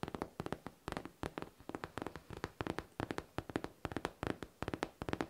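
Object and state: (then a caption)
Faux leather backpack tapped with nails. A hollow pink faux leather backpack with a smooth surface is tapped and scratched with long nails. Quick, soft, dry taps come in uneven bursts with brief scratchy rasps between them, each tap dying out almost at once.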